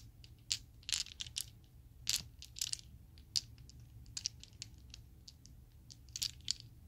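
A set of small, solid Chessex acrylic plastic polyhedral dice is squeezed and shuffled by fingers with long nails, then shaken in the palm. The result is a quiet, irregular run of sharp, bright clicks and clacks that die away almost instantly, with a faint low rumble underneath.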